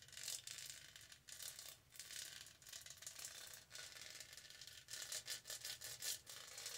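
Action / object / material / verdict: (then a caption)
scrape / studded plastic tumbler / plastic / none. Long nails rub across the studded texture of a tall, purple, hollow plastic tumbler. The result is a bright, scratchy, raspy rustle made of rapid clicks that comes in short swells and pauses, with almost nothing in the low range.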